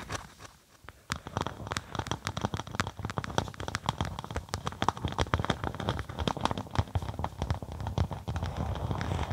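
A flat black-and-white faux snakeskin synthetic leather sheet laid over a microphone is scratched and tapped with long acrylic nails. After a brief quiet start, there is a rapid, irregular stream of short, crisp clicks and scratchy crackles with a muffled, bassy thump underneath.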